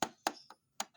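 The metal belly area of an updated metal-alloy Bumblebee transforming toy robot is tapped four times. Each tap gives a short, bright, clinking knock that dies away almost at once, with a faint mid-high ring. The taps have a clearly metallic sound.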